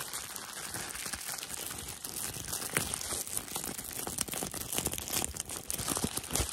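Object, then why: Plastic bubble wrap sheet. Fingertips and nails rub, scratch and crinkle a thin, flexible sheet of clear, air-filled plastic bubble wrap held up close. The result is a steady, dense, bright crinkling peppered with quick sharp crackles that grow slightly louder toward the end.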